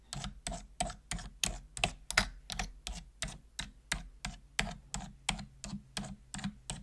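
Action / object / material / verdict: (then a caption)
tap / plastic computer keyboard keys / plastic / none. Single keys on a full-size black plastic computer keyboard with hollow plastic keys are pressed slowly with a long-nailed fingertip, giving about twenty separate taps at a loose, uneven pace. Each tap is a short, hollow plastic click with a bright edge and a soft low thump that dies away almost at once.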